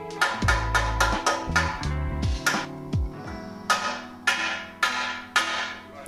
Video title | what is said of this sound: Suzuki DR 350 S - SE / Restauration / Episode 5 : Partie cycle 🚲 | このより高いピッチの特徴的なノイズは、新しいトラックがフレームに接触していることを示します